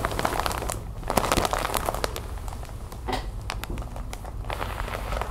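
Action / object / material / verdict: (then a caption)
scrape / plastic bag filled with cotton balls / plastic film / none. A large, sealed clear plastic bag full of white cotton balls, lying on a wooden table, is scratched and tapped across its plastic film with long white nails. Quick, dense crinkling taps and scratches crackle with bright, sharp clicks over a steady low rumble, with a short quieter stretch near the middle before the tapping picks up again.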